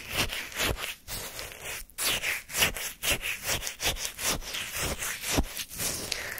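A flat wooden spoon repeatedly digs into and scrapes across the frozen surface of a full paper cup of orange shaved-ice sorbet chunks. The spoon makes short, bright, crunchy scraping strokes at an uneven pace of about two per second, each with a faint low thump and no lingering ring.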